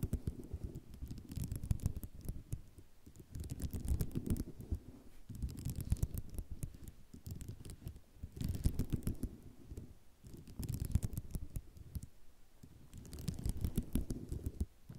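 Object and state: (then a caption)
Ceramic mosaic tile sheet. Long nails scratch and tap across a white ceramic mosaic tile sheet, making dense clicking and scraping textures. The sound comes in repeated waves of rapid taps with bright, sharp clicks over a deeper rumbling body, separated by brief quieter pauses.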